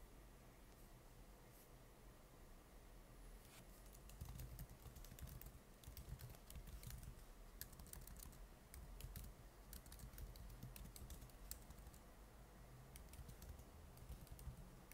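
Fingertips type on the plastic keys of a silver laptop keyboard, producing steady, sharp key taps with bright clicks over a constant low hum. The typing is quiet for the first few seconds, then becomes faster and denser from about four seconds on.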